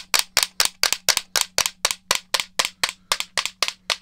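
Fingernails tap and scratch the casing of a hollow black plastic game controller, making a steady run of about four bright, dry clicks per second. Each click is sharp and quick with almost no ring and no low end, and some land as quick double taps.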